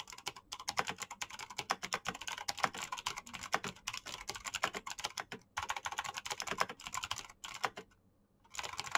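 Fingertips type fast on a black plastic mechanical keyboard with clicky switches, making a dense run of short, bright, sharp clicks with almost no low end. The clatter pauses briefly near the end, then resumes.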